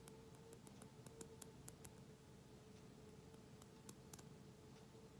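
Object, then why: Small glass bottle with plastic screw cap. Long manicured nails tap and scratch on a small, closed glass essential oil bottle with a black plastic screw cap and a light-blue label, which probably holds some oil, held up close. Quiet, sharp clicks with bright edges ring out in an uneven series over a soft scratchy texture and a low steady hum.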